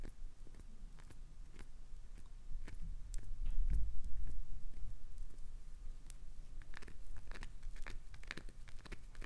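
Long acrylic nails dig and scratch into the crumbling edge of a solid translucent green glycerin soap bar. Quick, crisp crunches and scrapes repeat over a low rumble, swelling loudest in the middle before settling into steady, bright clicking scratches.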